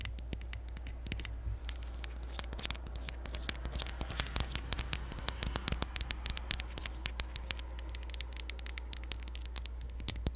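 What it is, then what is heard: Glass perfume bottle tapped with nails. Long acrylic nails tap rapidly and continuously on a tall, clear glass perfume bottle partly filled with liquid. The result is a stream of short, bright clicks and light glassy ticks over a steady low hum.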